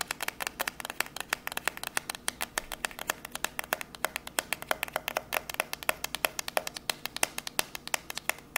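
A long, narrow, hollow white cardboard box labelled MOVO, held up in both hands, is tapped and scratched with long grey nails. Fast, crisp clicks follow in rapid, uneven bursts, with bright, short, dry hits and little low end.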